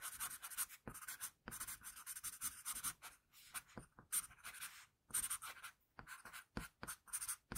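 A wooden pencil scratches sketch strokes across a flat sheet of drawing paper. The quiet, bright, dry scratching comes in short bursts of back-and-forth strokes, separated by brief pauses.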